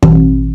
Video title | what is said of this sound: Episode 2 - Bryan Galloup - World Class Guitar Maker and Luthier School Founder | it has a different ring tone to it